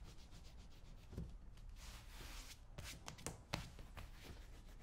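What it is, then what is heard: Leather boot being scraped. A hand-held metal scraping tool is drawn along the brown leather shaft of a cowboy boot. The result is a quiet, steady rasping scrape with a low undertone and bright hiss, broken by a few sharper, louder strokes in the second half.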